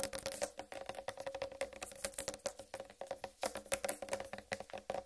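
Long red-painted nails tap rapidly on a large, whole, uncut watermelon with a green striped rind. The taps are quick, dry clicks with almost no ring, carrying a faint hollow tone near 550 Hz under bright, crisp tops.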